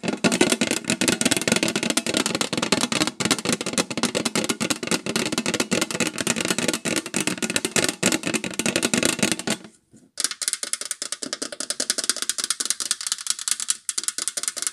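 Long nails rapidly tap and scratch the lid of a round, hollow metal cookie tin made of thin sheet metal and printed with a reindeer, Santa and snowman design. The dense, clicky rattle has a hollow, ringing body for about ten seconds, then stops for a brief silence. It resumes thinner and brighter, with little low end.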